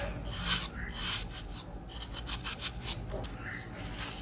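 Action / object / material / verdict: scrape / pressed baking soda block / baking soda / none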